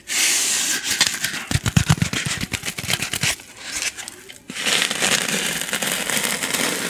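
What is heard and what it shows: Long painted nails scratch and rub a white styrofoam packing insert with a rectangular recess, held close to the microphone. A bright, dry hiss of rubbing gives way to a quick run of sharp, crackly scratches and squeaks, then settles back into steady, airy rubbing.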